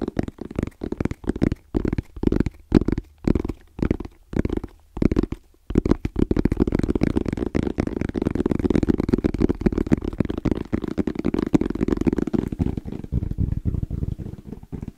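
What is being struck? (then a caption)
Hard-shell EVA case. Fingertips tap fast on the top and sides of a small, rigid, hollow black hard-shell EVA case with an orange zipper. For the first six seconds the tapping comes in short separate bursts, then it becomes a steady, rapid drumming of dull, hollow low thumps with almost no ring.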